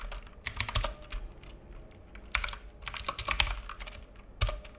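Fingertips of both hands type on a black full-size mechanical keyboard with plastic keycaps and a hollow case, resting on a wooden desk. Irregular bursts of short, sharp key clacks carry bright highs over a low, hollow thump, with brief pauses between flurries and a very quick decay after each tap.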